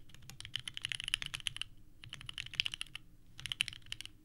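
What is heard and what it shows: A small 65% mechanical keyboard with a purple case and white ABS keycaps, resting on a desk mat, is typed on continuously with the fingertips of both hands. It produces rapid, clacky key presses with a bright, sharp click centered near 3 kHz and almost no ring. The typing comes in bursts separated by two brief pauses.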